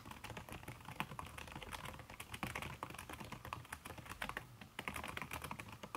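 Fingertips and long red nails type fast on a backlit aluminium laptop keyboard fitted with a red silicone key cover. The result is a steady, rapid patter of short, soft, dampened taps with quick decay, plus occasional sharper clicks and a faint low hum underneath.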